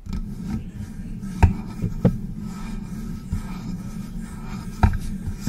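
Long press-on nails scratch and rub up and down the body of a hollow silver metal USB microphone. The result is a steady low, muffled rasping with four short, sharp knocks standing out from the scraping.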